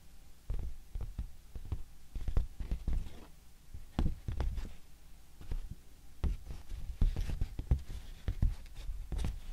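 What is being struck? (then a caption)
Thin handmade paper sheet. Long painted nails and fingertips tap and scratch a large, thin, pink handmade paper sheet with plant inclusions and dark fibre flecks, held up flat in both hands. The result is a quiet, irregular run of short, dull, low taps with soft scratchy rustles between them, and each sound dies away almost at once.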